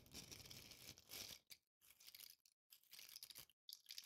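A hand-sized green Christmas ball ornament covered in coarse glitter or tinsel flakes is held and scratched with long painted nails. The result is a quiet, bright, crackly scratching concentrated in the high range, coming in bursts separated by brief silences.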